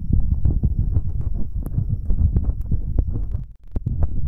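Fingertips in rubber finger cots rub and tap directly on metal binaural microphone capsules, first on both sides and then on the right capsule alone. The result is a dense run of deep, booming thumps and muffled rumbling, with occasional sharp bright clicks and a brief near-silent gap before the tapping resumes.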